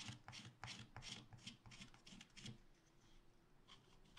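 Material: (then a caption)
Waxed paper. A wooden stylus makes short, quick scratches near the bottom of a black wax-coated scratch art paper page in a spiral pad. Each stroke is a dry, bright rasp with a soft low thud beneath it, coming in a loose rhythm. The strokes fade to lighter, quieter scraping after the first couple of seconds.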